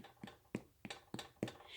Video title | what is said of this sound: Bake for Family Fun Month | you can hear that nice hollow sound. So that's what we're looking for.